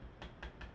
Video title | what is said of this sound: LuthAR MBA-1 Review and Install | a kind of a softer plastic clicking sound